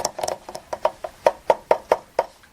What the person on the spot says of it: The base is plastic. One thing about it is plastic. It's not gold. It just looks like it.